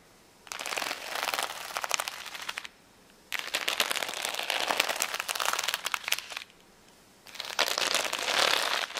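Long nails scratch across the acrylic gems of a flat plastic rhinestone sticker sheet resting on a towel. Three bursts of dense, bright crackling and clicking are separated by short pauses, with almost no low end.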